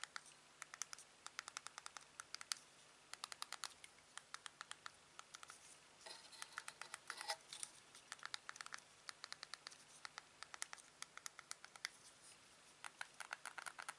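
Fingertips press the buttons on the control panel of a small, hollow black plastic headset earpiece and fidget with it. The earpiece has a USB plug, is attached to a black headband, and is held in both hands. Quiet, sharp, bright clicks and taps come in quick irregular bursts with almost no ring, and a denser scratchy patch of handling noise runs through the middle.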